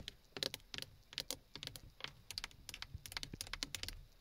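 Long fingernails tap rapidly on a textured black plastic steering wheel hub cover and its side button area, a hollow shell. About twenty quick, dry, bright clicks arrive in uneven bursts, each dying away almost instantly with little low end.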